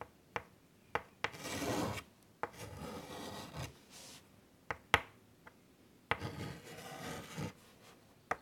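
A white chalk stick held in the fingertips draws curvy lines across a large, flat, wood-framed chalkboard lying on a table. Bursts of dry scratching and rasping strokes alternate with several sharp, clicking taps as the chalk meets the board. The sound is quiet, mostly mid-range with bright, high edges on the strokes.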